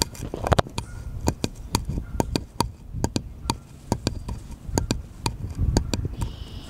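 A small, solid, unfinished wooden cutout shaped like a bottle is held sideways while fingernails tap and scratch it. A steady series of short, dry clicks, each dying away almost instantly, is heard over a soft, low rustle of scratching.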